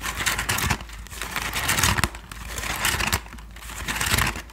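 A medium-sized, hollow Thai sticky rice basket of woven bamboo strips is held in both hands in front of the microphone while fingertips and long nails scratch and tap its woven surface. Dry, crinkly scratching comes in rising and falling bursts with bright, rasping texture. Short, sharp taps with almost no ring sit over a faint low hum.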